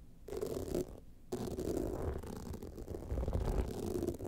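Long nails scratch the sides and top of an upright gold rhinestone-studded evening clutch bag, making a dense, gritty rasp with low rumbling undertones. The scratching pauses briefly near the start and then continues steadily with small surges.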